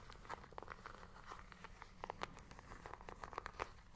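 Long manicured nails tap and scratch a small, hollow handheld plastic IR remote control with colored rubber buttons, held close to the mic. The result is a rapid, irregular series of short, dry clicks centered around 1 kHz, mixed with light scratching, over a faint steady low rumble.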